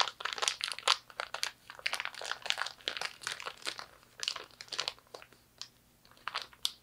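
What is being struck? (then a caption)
Plastic zipper storage bag. An empty clear plastic zipper storage bag is crumpled and squeezed by both hands. Dense, bright crinkling and crackling comes in rapid bursts with tiny gaps, each crackle cutting off instantly with no ring. There is almost no low end, only a crisp, papery rustle at a soft level.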